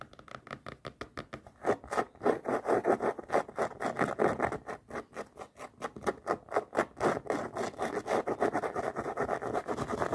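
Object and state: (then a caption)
Canvas sneaker scratched. Long nails rapidly scratch and rub the rubber sole edge and canvas upper of a floral canvas sneaker held on its side. The result is a fast, rhythmic run of dry, raspy strokes centered in the midrange, with little low end and very short decay between strokes.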